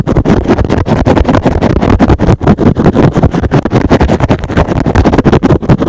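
A soft, porous, hand-sized rectangular green and blue synthetic foam sponge is held in one hand and scratched fast on top with fingertips and short nails. The result is a rapid, uneven stream of dense, muffled scratching bursts, heavy in the lows with almost no bright top end.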